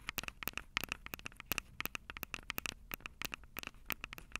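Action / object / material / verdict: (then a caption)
tap / plastic and metal handheld audio recorder / plastic, metal / none. Long purple acrylic nails scratch and tap the two metal-grilled microphone capsules of a plastic-bodied Tascam DR-05 handheld recorder. The result is a rapid, irregular run of around 27 sharp, bright clicks and scratches with a tinny ring near 2.7 kHz that dies almost instantly. There is faint crackle between the hits and no speech.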